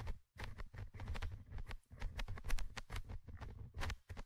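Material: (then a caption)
Metal mesh. A thin orange stick scratches the small metal mesh microphone grille of a Tascam handheld recorder. The result is a quick run of close, rough scratching bursts, heavy with deep booming low rumble and brief bright rasps, separated by short silent gaps.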